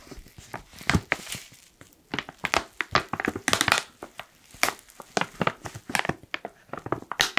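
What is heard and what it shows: A black foil coffee pouch is crumpled and crinkled with fingertips. The result is a dense run of sharp, bright crackles and crinkles with short tails and little low end. They come in uneven bursts, with quieter gaps between them.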